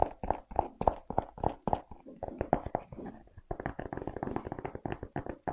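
A rubber-soled leather velcro sneaker is gripped and tapped with fingers, first on the leather upper and straps, then on the treaded rubber sole. The first half brings crisp, evenly spaced taps with a short hollow tone around 700 Hz. The second half turns into denser, duller, faster tapping that dies away almost at once.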